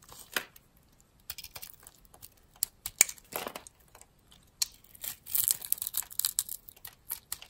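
A metal blade cuts small cubes from the scored surface of a solid, opaque, light-green rounded soap bar, palm-sized and held in the hand. Quiet, bright, crisp scraping and crackling cuts come in short bursts, with almost no low end. The bursts grow busier and denser toward the end.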